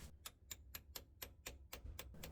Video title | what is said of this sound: How to Change Transmission (4L60E) Fluid and Filter on a 1998-2002 Chevy Camaro and Pontiac Firebird | when tapping it in the sound will change to a more solid sound once it's sitting completely in